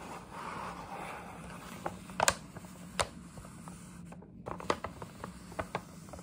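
Long nails scratch and rub the side panel of a printed paper gift bag up close. A soft, steady papery rubbing runs through the first couple of seconds, then about seven sharp, bright scratches and crinkly ticks stand out over the quieter rustle.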